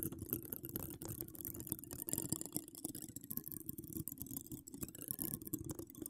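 Long acrylic nails decorated with donut charms scratch across a hollow woven metal mesh microphone grille. The result is a dense, continuous rasping and crackling with a heavy low rumble and a bright, hissy edge, holding steady for about six seconds.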